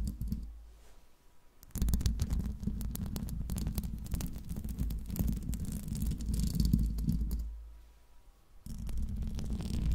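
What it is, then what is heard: Metal microphone grille being scratched. Long nails and fingertips of both hands scratch the hollow metal mesh grille of a silver microphone, giving a dense, low, rumbling rasp. It starts quietly, swells into a loud, busy stretch of rapid scratching from about 2 to 7.5 seconds, dips near-silent around 8 seconds, then picks up again.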